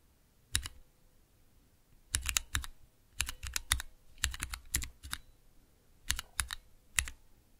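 Fingertips press and tap the keys of a small 3x3 switch tester, with clear plastic keycaps on Cherry MX switches in a clear plastic base, resting on dark velvet. Sharp, bright plastic clicks come in quick bursts with short pauses between them, each click dying away almost at once over a soft low thud.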